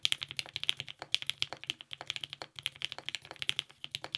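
A compact TGR 910 RE mechanical keyboard with lubed 55g Nixie switches, a polycarbonate plate and purple GMK ABS keycaps is typed on continuously with the fingertips of both hands. About 38 quick, crisp keystrokes click in an uneven stream; each one is bright and dry and cuts off almost instantly, with barely any low end.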